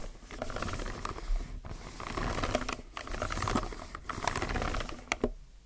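Fingertips type on a low-profile mechanical keyboard with plastic keycaps, pressing the left-side keys and the yellow plastic spacebar. A steady stream of quick, clacky keystrokes with soft low thuds fills the clip, broken by a few brief pauses, and each press dies away almost at once.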